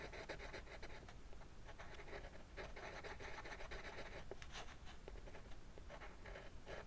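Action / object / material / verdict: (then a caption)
scrape / colored pencil drawing on a paper sheet over a wooden desk / paper / none. A yellow-orange colored pencil draws short scratching strokes on a flat sheet of white drawing paper resting on a wooden desk, adding spines to a dragon drawing. Quiet, dry, papery scratches repeat steadily with a bright rasp and a faint low rumble underneath.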